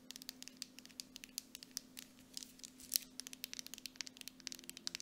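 Long nails tap fast on the base, lid and sides of a grey plastic mud mask jar with a silver metal lid that appears full. The result is a quick, uneven run of about 34 sharp, bright clicks with almost no ring, over a faint steady low hum.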